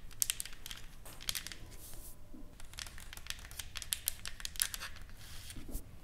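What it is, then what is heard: Painted wooden plaque tapped with nails. Long acrylic nails tap and scratch across a solid, flat, painted wooden plaque, a decorated board with burned lettering and painted flowers, lying on a table. A quick, irregular series of sharp, dry clicks is mixed with bright, crinkly scratching. Each tap dies instantly with no ring, over a faint low background rumble.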